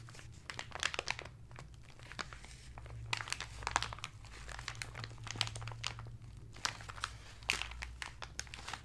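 Fingertips and flat hands rub and press the surface of a rectangular parcel wrapped in brown kraft paper resting on a red cloth, its contents unseen. Dense bright crinkling and crackling bursts come over a steady low hum.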